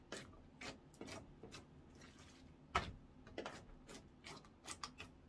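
Orange clear slime is poked, stretched upward by hand and folded on a wooden counter. The result is a string of quiet, short sticky clicks and wet pops with bright crackle, and one sharper, louder pop partway through.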